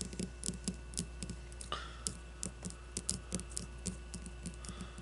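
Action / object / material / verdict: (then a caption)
tap / leather-covered baseball / leather / none. Long blue-painted nails tap and scratch a solid leather-covered baseball with red stitching as it rests on a wooden table. A quick run of short, dry, bright clicking taps and a brief scratch sound over a steady low hum.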